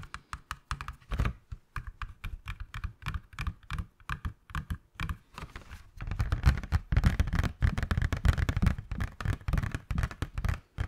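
A hand-sized, hollow, transparent rigid plastic box with a teal item inside is tapped and scratched along its edges and faces with fingernails. Rapid, irregular, dry clicking taps with short, hollow, low thuds come first; after about six seconds they grow denser and louder, blending with scratching.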